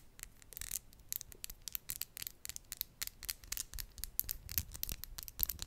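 Long glitter acrylic press-on nails are tapped and scratched against each other, nail on nail, just above a microphone. The result is a rapid series of sharp, bright clicks with soft, scratchy rubbing between them, all very short with no ring.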